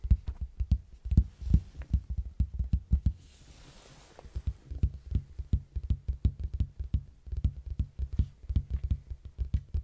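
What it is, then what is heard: Hollow cardboard box. Fingertips knock and tap on the flat side of a large, hollow red cardboard box standing on its edge beside the mic. The result is a quick, irregular run of dull, deep thumps that die away almost instantly. The taps stop for about a second, leaving only a faint soft hiss, before the taps resume at a steady pace.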